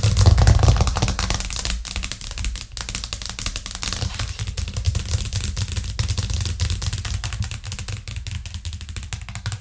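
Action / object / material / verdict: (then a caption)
tap / thin plastic cutting board / plastic / none. A thin white plastic cutting board with green rubber edges, lying flat on a cork trivet and solid, is tapped quickly with the long acrylic nails of both hands. The result is a fast, uneven stream of dry clicking taps over a low thudding body. It is loudest in the first second, then settles to a steady patter.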